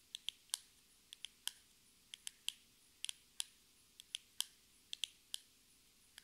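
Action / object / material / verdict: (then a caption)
tap / small cardboard box tapped with fingernails / cardboard / none. Long red nails tap a small, hollow, rectangular metallic-pink cardboard cosmetic box. About 18 short, crisp, high clicks arrive at an irregular, unhurried pace. Each click is dry and stops almost instantly, with no low end.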